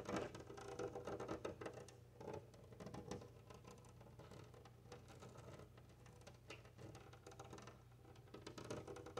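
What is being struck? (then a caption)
Glass window pane. Long painted nails and fingertips of both hands tap and scratch a large flat glass window pane bearing a decorative bead sticker. Quick, light clicking taps and soft scratching patter along over a steady low hum, each tap dying away almost at once with little brightness.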